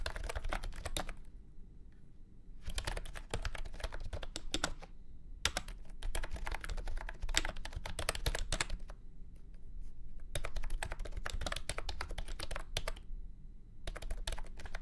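A full-size beige and orange plastic keyboard with round keycaps and a hollow body sits on a felt mat and is typed on with fingertips. Bursts of quick, clacky keystrokes with bright edges and very short decay are separated by brief pauses. A steady low rumble continues underneath.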